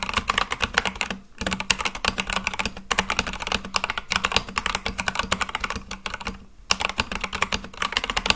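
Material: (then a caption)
Plastic. Fingertips type quickly and continuously on a full-size Akko mechanical keyboard with white and light-blue plastic keycaps on a black case. The result is a dense stream of short, bright, clacky key strikes with almost no ring and a low hum beneath them. Brief pauses occur around 1.3 and 6.5 seconds.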